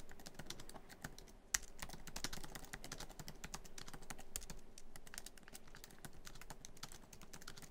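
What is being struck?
Plastic laptop keyboard keys in a metal body.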